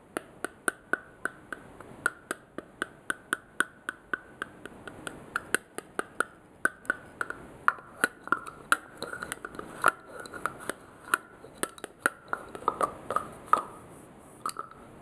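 Fingertips and nails take the black plastic cap off a small purple glass cosmetic bottle, put it back on and tap it. The result is a long, steady series of short, sharp clicks and taps, each with a brief glassy ring around 1.4 kHz and bright edges, over a quiet background.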